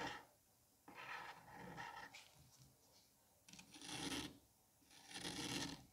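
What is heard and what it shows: A metal curette scrapes across the surface of a palm-sized solid dome of green kinetic sand, making soft, gritty rasping strokes with a bright, hissy texture. The scrapes come in uneven bursts separated by near-silent pauses, with the strongest strokes near the middle and end.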